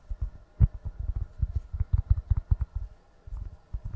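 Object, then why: Foam makeup sponge. A small, soft beige egg-shaped foam makeup sponge is held in both hands and squeezed and rubbed with the fingertips. A quick, uneven series of soft, muffled low thumps and squishes follows, each one dying away at once, with a brief pause near the end before the squeezing resumes.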